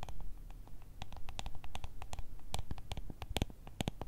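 Long red nails scratch and tap on a small ribbed clear plastic jar full of gel beads. A quick, irregular run of short, dry clicks with bright edges plays over a steady low rumble. The taps are crisp and die away almost at once.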